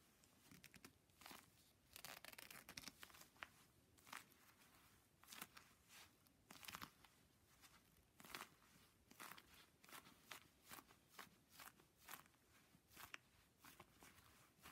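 An empty, soft, hollow teal-blue leather glove with white stitching is held in a hand wearing a black leather glove and crumpled and rubbed, so leather rubs against leather. Bright creaking, crinkling rubs and squeaks come in repeated short bursts over a quiet background, with little low end.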